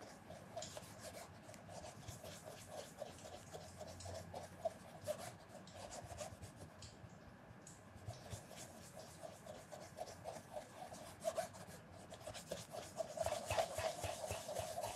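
A red cloth wrapped around fingertips rubs small circles on a polished black calf-leather penny loafer with a shoe tree inside, held steady on a dark counter. Quick, steady swishing strokes come about four per second, each carrying a faint squeaky mid-pitched tone with bright hiss. The rubbing grows louder and brighter toward the end.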